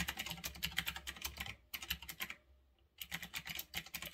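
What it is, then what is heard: Mechanical keyboard with round plastic keycaps. Fingertips type fast on a retro typewriter-style mechanical keyboard with round backlit plastic keycaps resting on a desk. The result is a rapid run of sharp, bright, clacky key clicks with a low thud beneath each press. The typing stops for about a second of near silence, then resumes at the same quick pace.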